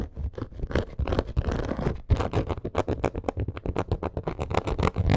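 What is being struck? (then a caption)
Textured faux leather purse. Long acrylic nails quickly scratch and tap a medium-sized black faux crocodile leather purse with a textured surface. The result is an uneven run of dull, muffled scrapes and short taps, heavy in the low end, with little high-frequency content and almost no ring.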